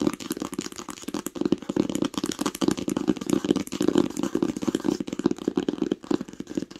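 Long nails tap rapidly and continuously on the cover of a green cloth-covered hardcover book lying flat, at times with one hand. The taps are short, dry and dull with a mid-range thud and almost no ring.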